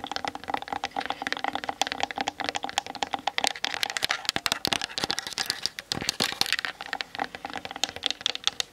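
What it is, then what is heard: Plastic camera body tapped with fingernails. Long nails on both hands tap quickly over the hollow plastic body of a Canon DSLR camera. The result is a dense, rapid run of short, dry clicks with a bright, hollow plastic tone centered around 785 Hz. Each click dies away almost instantly and there is very little low end.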